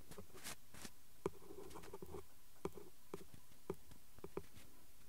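A ballpoint pen tip taps and traces along the lettering of the flat printed cardboard card from a glue stick pack. Quick, quiet scratches mix with short, dry taps that carry a faint hollow tone around 390 Hz and die away almost instantly.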